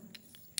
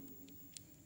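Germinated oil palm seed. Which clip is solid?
The second.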